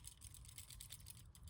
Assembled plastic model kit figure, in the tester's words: I'm shaking it pretty hard. All that really rattled was the gun. Maybe I moved his legs a little bit, but he's fine.